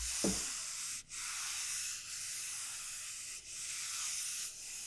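Long painted nails scratch across the hard, hollow shell of a large, elongated dried bottle gourd lying on a felt mat, after a single soft tap at the start. The scratching is a steady, bright, hissy rasp, briefly dipping as the strokes change direction, with little low-end body.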